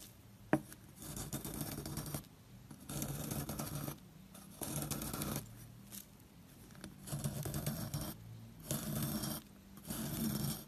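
A wire loop carving tool scrapes and carves the surface of a solid square bar of white soap with blue paint traces, held in the hand, as powdery chips fall off. After a sharp tap near the start, soft, dry scraping comes in repeated strokes about a second long, separated by brief quiet pauses. The sound is low and muffled with little brightness.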